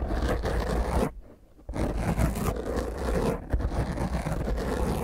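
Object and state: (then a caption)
Foam microphone windscreen being scratched. A small, rounded black foam microphone windscreen is scratched intensely with the long fingernails of both hands. The result is a dense, muffled, low-heavy scraping and rustling that drops to near quiet for about half a second early on, then resumes just as rough, with a brief dip past the midpoint.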